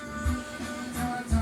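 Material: Nothing is struck.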